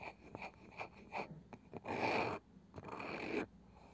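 Long nails slowly tap and scratch the light wooden lid of a small round box with a woven cane side that seems hollow. A run of short, dry taps is followed by two longer, brighter scratching strokes across the lid.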